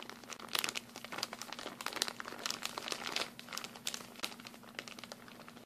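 A thin, clear and blue printed plastic bag, an empty hand-sized product package, is held in both hands and crumpled and crinkled with the fingers. Dense, bright crackling and crinkling rustle continuously over a faint steady low hum, with sharper crackles popping out now and then.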